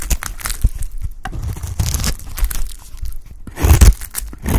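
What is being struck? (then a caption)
Bar of soap cut with a blade. A blade scrapes and cuts pieces off a dry, solid yellow Lifebuoy bar soap. The result is a run of dry crunching, crumbling and scraping with dull low thumps, swelling into louder bursts near the middle and again toward the end.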